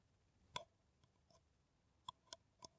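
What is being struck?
Paper coffee cup.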